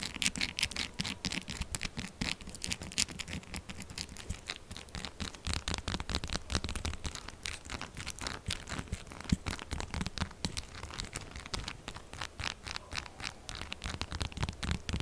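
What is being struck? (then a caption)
Bar of soap scratched and tapped with fingernails. Long acrylic nails scratch and tap fast on a solid, textured pink-purple soap bar. A dense, continuous run of quick, dry scratches and sharp clicks goes on for about 15 seconds, bright and crackly with some low thumping underneath.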